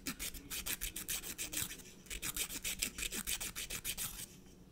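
A blue emery nail file is rubbed against the edge of a natural fingernail in steady back-and-forth strokes. Each stroke makes a dry, bright rasping burst. The strokes come in a quick run, pause briefly near the middle, then resume and fade out just before the end.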